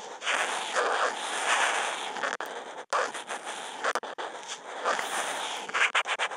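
The felt tip of a Posca marker, with a contact mic on the marker, is drawn in continuous wavy lines across a flat white Kent paper sheet. It makes a dry, scratchy rasp that swells and fades with each curve, broken by a few brief silent gaps where the tip lifts or changes direction.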